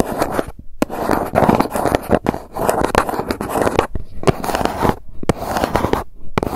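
Long nails scratch and tap the embossed surface of a hollow grey GUCCI cardboard gift box held upright. The result is dense, dry scraping with quick taps, weighted toward low and mid tones, broken by a few short silent pauses.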